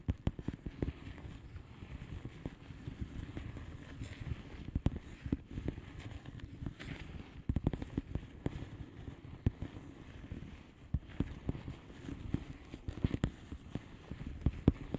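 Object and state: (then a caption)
Plastic bubble wrap mailer. Two hands with long painted nails tap and scratch the bubbles of a thin, air-filled blue plastic bubble wrap mailer lying flat. Dense, soft, low-pitched tapping and scratching sounds follow one another quickly, each dying away almost instantly, with little brightness and occasional sharper clicks.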